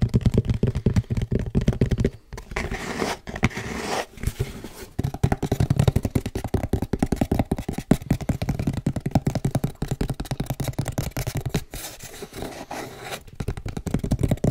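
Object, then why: Small cardboard shipping box. Fingertips and nails scratch and tap the top and sides of a small, hollow brown cardboard shipping box. Quick, dense scratches and taps mix with dull, hollow low thumps that die away almost at once. Several brief pauses break up the otherwise steady stream.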